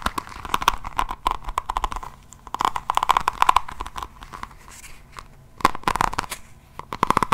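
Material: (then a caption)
Resin. Long nails scratch and tap across the raised resin diamond-painting beads set into the cover of an A5 hardcover notebook held in both hands. Dense bursts of crisp, crackly clicks and scratchy crunches centered around 1 kHz come in clusters, with quieter gaps in between, and each click stops dead with no ring.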